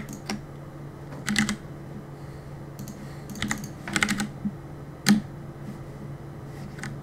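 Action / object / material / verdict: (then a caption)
tap / mechanical keyboard with plastic keycaps / plastic / none. Fingertips tap the plastic keycaps of a black mechanical keyboard in irregular bursts and short clusters. Each keystroke is a sharp, brief click with a bright top and a low thock, over a faint steady low hum.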